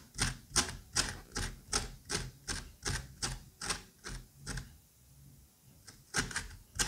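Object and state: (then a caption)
Pumpkin pulp and seeds scraped out. A curette scrapes and scoops the seeds and wet pulp out of a pumpkin half in a steady run of short, bright, slippery strokes, about a dozen in quick succession. After a brief quiet pause, the scraping picks up again with a few more strokes.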